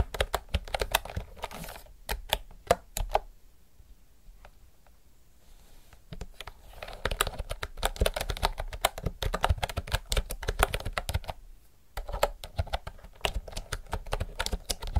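Fast typing with fingertips and nails on a retro mechanical typewriter-style keyboard with round plastic keycaps produces dense, sharp clicky clatter. The typing pauses twice, from about 3 to 6 seconds and again near 11.5 to 12 seconds, before resuming.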